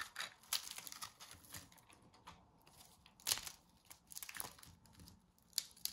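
A small metal blade shaves curls from a round disc of coiled dry soap strips held in the hand. Quiet, bright, crinkly scraping and crackling comes in uneven bursts, with sharper crisp snaps as layers break away.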